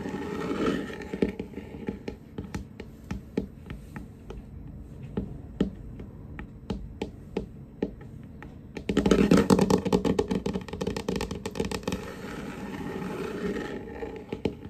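Fingertips and short nails of both hands tap and scurry across a large, solid wooden tabletop with a glossy varnished finish, moving toward the camera. Sharp, dry, irregular taps with a short, warm, low-mid knock come sparsely at first, then build into a louder, denser burst of quick scurrying clicks with bright nail ticks. The taps then thin out and fade back down.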